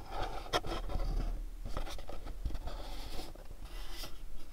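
A pink cube-shaped cardboard gift box is scratched and tapped with fingernails on its faces. Steady dry rasping scratches run throughout, broken by a few sharper, dull taps with a muffled low thud.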